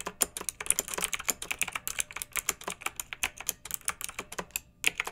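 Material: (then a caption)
Plastic. Long-nailed fingertips type on a pink mechanical keyboard with round retro plastic keycaps and a blue backlight, resting on a fluffy rug. A steady run of about 34 crisp, bright plastic clacks sounds out, each one short and dry with almost no low end.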